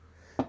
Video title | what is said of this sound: Monter une Etagère (Hyper simple) | le placot, c'est ce qui sonne creux. dans votre mur quand vous toquez